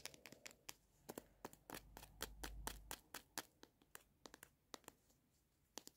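Fingernails tap and scratch a filled Sherbet Fountain tube with a paper wrapper, held in the hand. Quick, irregular crisp clicks with bright papery edges are heard, with a brief soft scraping rustle in the middle. The overall level stays quiet.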